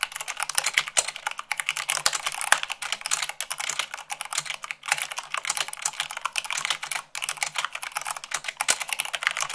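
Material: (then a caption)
Plastic. Fast typing at about 98 words per minute with fingertips and long nails on a mechanical keyboard with white plastic keycaps on a black base. A dense, continuous stream of sharp, bright plastic clicks and clacks with very short decay and almost no low end, with only brief pauses between bursts.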